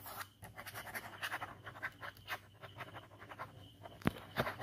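A ballpoint pen scratches fast scribbling strokes across a white paper sketchbook page bearing an ink skull drawing. The clip is a quiet, continuous run of short, dry, papery scratches with brief rising and falling bursts. Two sharper, louder strokes land near the end.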